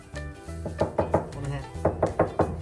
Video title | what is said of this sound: 【コペン】トランクのデッドニング！ 車内の騒音を低減！ | この辺ノックすると音が響くよね